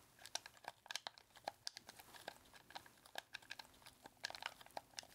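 A red hollow plastic game controller is gripped in both hands while thumbs and fingertips rapidly mash and click its buttons. Quiet, bright, dry clicks and clacks come in an irregular rapid stream, each one short with almost no ring and very little low end.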